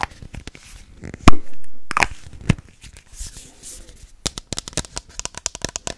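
Long nails tap and scratch the white plastic cap of a hollow, hand-sized teal metal Moroccanoil aluminum hair spray bottle. About twenty short, sharp clicks ring out, with one loud knock followed by a brief scratchy swell near the start. The clip closes on a quick run of bright, crisp taps.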